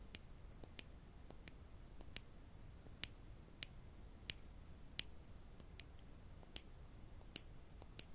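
Small solid wooden clothespins with metal springs, one held in each hand, are tapped and clicked against each other with the fingertips. About a dozen sharp, bright, very short clicks sound at irregular intervals over a faint steady hiss, each dying away almost instantly.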